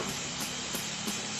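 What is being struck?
Nothing is struck.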